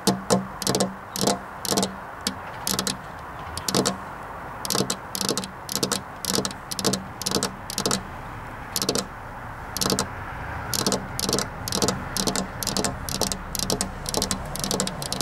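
Two hands with long black nails tap continuously on a flat glass window pane, producing bursts of sharp, bright clicks in quick, uneven clusters. Each tap is short with almost no ring, over a steady low hum.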